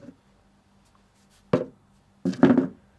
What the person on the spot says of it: the sound was clear and sharper